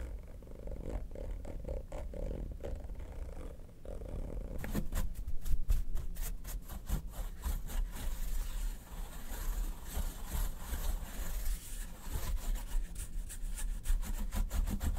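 A makeup brush is swept and rubbed over the textured, quilted top lid of a small mint-green hard-shell ABS plastic vanity case, hollow and resting on a fur rug. Soft, muffled brushing with a low, hollow undertone gives way after about four and a half seconds to brighter, rapid scratchy strokes that continue irregularly to the end.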